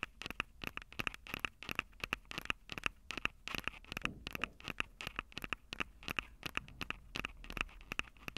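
Long glossy acrylic nails tap and scratch the two metal-grille mic capsules on top of a Tascam DR-05 handheld recorder, a small, hollow-bodied black plastic unit standing upright on a table. The result is a rapid, irregular stream of short, dry clicks and scratchy ticks with a bright, ringing-free edge centered around 2.6 kHz and little low end.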